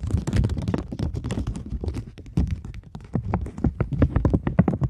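A polymer £20 banknote held taut in both hands is scratched with long nails and crinkled, giving a dense run of rapid, dry taps and scratchy clicks. Each stroke is short with bright edges, and the body of the sound sits low. It eases off slightly midway, then returns busier and louder.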